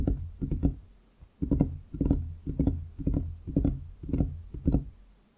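Both hands drum their fingertips on a large solid wooden desktop around the microphone, making quick rolling bursts of dull, low knocks. Each short flurry of taps dies away almost at once, then the next begins after a brief pause.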